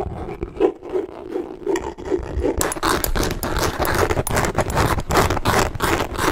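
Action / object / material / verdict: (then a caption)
scrape / leather handbag / leather / none. A hollow, bright green leather handbag with chain hardware is held up and scratched and tapped with fingertips. Soft, muffled taps and rubbing come first, then the scratching turns denser and brighter, with quick, irregular scraping strokes that continue to the end.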